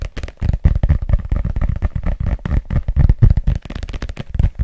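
Fingertips tap and scratch the glossy cover and spine edge of a red paperback book, a solid paper block held horizontally close to the microphone. The result is a dense, irregular run of soft, muffled thumps and scratchy rustles, heavy in low frequencies, with each tap dying away almost at once.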